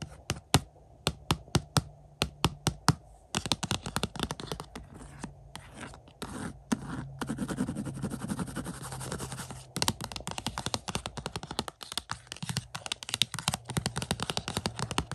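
Fingertips and nails tap and scrape the front of a glossy cardboard slipcover on a collector's edition 4K Blu-ray case of the movie *Nope*, lying on carpet. Crisp, dry, separate taps open the clip, then give way to dense, continuous scratching and scraping before quick taps return. A faint low hum runs underneath throughout.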